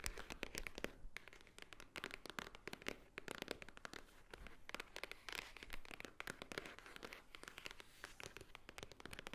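Long nails tap and scratch the top edge of a small, hollow white Swarovski cardboard jewelry box. The result is a quiet, rapid patter of dry, bright clicks mixed with scratchy scraping, each tap dying away almost at once with no ring.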